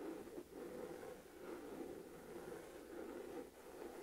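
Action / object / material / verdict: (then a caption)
scrape / textured leather crossbody purse / leather / none. Fingertips and long nails scratch and tap the front of a hollow, medium-size olive green Michael Kors crossbody purse in textured saffiano leather. The result is a soft, continuous, quiet scratching rustle centered in the low-mid range around 300–600 Hz, with brief dips in level near the start and end.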